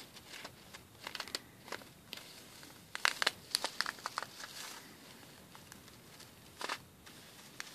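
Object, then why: Plastic bag filled with small plastic beads. Fingertips and nails scratch and rub across a clear plastic bag with a cardboard header, filled with white rice-shaped plastic pearl beads. Bright, dry crinkles and clicks rise in scattered bursts, loudest around the middle, as the bag crumples and the beads shift inside.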